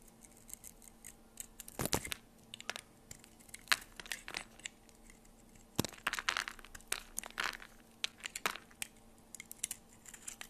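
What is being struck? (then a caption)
Bar of soap. A blade slices and scrapes strips off the side of a solid oval bar of soap with a purple and orange marbled outer layer and a white core, held in a hand with long purple nails. Crisp, bright crackling and crunchy scraping bursts come in irregular strokes over a faint steady low hum.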